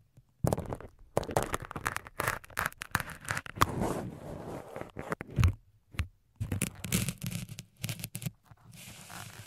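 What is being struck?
Foam microphone windscreen.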